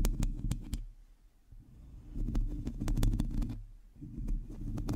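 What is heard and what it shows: Long teal acrylic nails on both hands scratch a hollow, domed metal mesh microphone grille. The result is a close, low, muffled rumbling scrape, broken by sharp bright ticks and clicks as the nails catch the mesh. The sound fades quieter twice before building back up.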